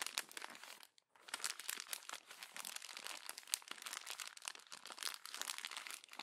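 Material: Glossy paper.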